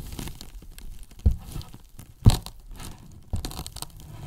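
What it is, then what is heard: Polyethylene foam box tapped and scratched. Wooden brush handles scratch across the top of a large, white, hollow polyethylene foam box, then tap its sides. A low, muffled rustling and scraping runs throughout, punctuated by three sharper, dull knocks that die away almost instantly.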